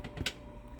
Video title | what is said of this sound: How to Make 100% Whole Wheat Bread in a Kitchenaid Mixer (or by hand) | when it's not done it's just more of a dead sounding thud this sounds more Hollow